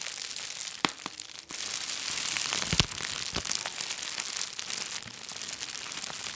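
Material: Plastic.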